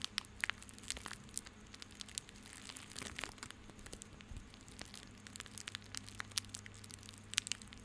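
A small coiled bundle of white plastic rope is held in both hands, squeezed and rubbed with the fingertips. It gives quiet, bright, crinkling and crunching crackles in irregular bursts over a faint steady low hum.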